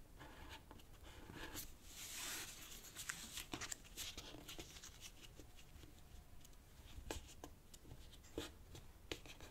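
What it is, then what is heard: Origami paper sheet being folded. Fingertips fold a thin, light-green origami paper sheet on a black cloth table and rub along its crease edges. Quiet, bright rustling and crinkling is broken by short, crisp paper snaps and ticks, with a fuller swish as the sheet is folded near the start.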